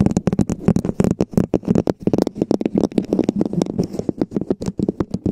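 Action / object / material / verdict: tap / plastic cup-shaped cover / plastic / none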